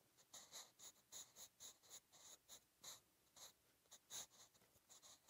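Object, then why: Graphite pencil on a paper notebook page. A wooden 8B graphite pencil held in the fingertips scratches and writes Korean script across a lined page of a spiral-bound B5 sketch notebook resting flat. The sound is a quiet run of about sixteen short, bright scratching strokes with no low end and almost no ring.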